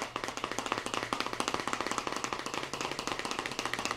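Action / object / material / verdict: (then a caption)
tap / plastic cup filled with kinetic sand / plastic / none. A small clear plastic deli cup with a lid, filled with blue kinetic sand and held in one hand, is tapped rapidly with fingertips and nails. It gives 33 quick, dry, closely spaced taps, each with a bright, clicky attack and almost no ring.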